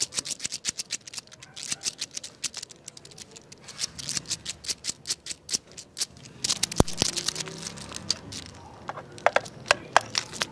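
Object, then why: Jointed wooden crocodile toy. A jointed wooden crocodile wiggle toy is held up and shaken, then wiggled along a tile floor by fingertips. Its wooden segments give a rapid run of short, bright, dry clicks and rattles. Later, a denser, rubbing clatter sets in with a few sharper knocks near the end.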